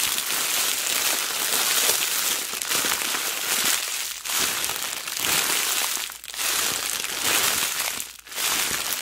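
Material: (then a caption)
Cellophane plastic. A loose sheet of clear plastic cellophane is bunched and squeezed between fingers with long black nails, then released. It gives dense, bright crinkling with almost no low end, easing briefly in short dips between squeezes.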